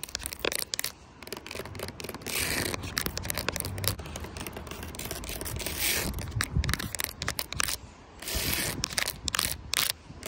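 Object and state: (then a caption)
Carpet mat. Long pointed nails tap and scratch into a flat grey speckled carpet or felt mat outdoors. The result is a dense run of quick, dry scratchy taps and rasping scrapes, bright and crackly with almost no ring. Brief quieter pauses fall between bursts.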